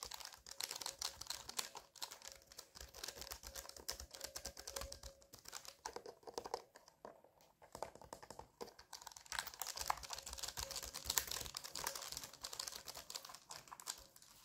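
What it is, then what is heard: Mechanical keyboard switches typed without keycaps. A full-size mechanical keyboard rests on a lap with its keycaps pulled off, exposing plastic brown switches on a dark metal plate. Fingertips of both hands rapidly type and press the bare switch stems, producing a dense stream of short, bright plastic clicks with a faint steady tone beneath. The tapping dips briefly in the middle before resuming.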